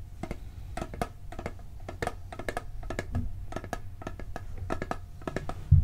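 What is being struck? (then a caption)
Steel cookie tin. Fingertips and nails tap quickly and unevenly on the lid and side of a hollow, round blue steel cookie tin. The taps are short, dull clicks that ring only briefly over a low, steady hum. A louder knock lands at the very end.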